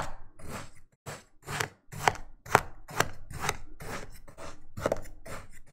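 An orange plastic knife, held in the fingers, repeatedly cuts and scores a flat patty of grey kinetic sand on a green plastic cutting board until a crosshatch pattern forms. The result is a steady run of soft, gritty crunching slices, about two per second, each a short dry burst with a bright, sandy hiss and no ringing afterward.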